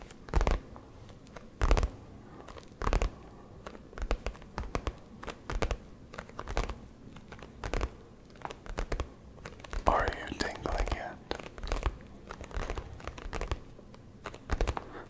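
A brown leather satchel, a soft-sided messenger bag held close to the microphone, is tapped and scratched across its flap with the fingertips of both hands. Soft thuds and scratches come in bursts, with a brief brighter crinkling scrape near the ten-second mark.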